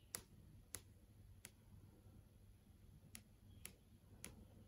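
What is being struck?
LCD TV screen panel.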